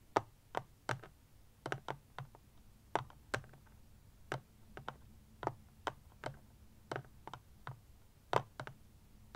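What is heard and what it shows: Fingernails and fingertips tap quickly on the front face of a small, rectangular, black plastic-cased power bank standing upright on a blanket. About 22 short, dry, clicky taps come in an uneven rhythm, each dying away almost instantly with a mid-pitched plastic tick. A faint low hum sits underneath.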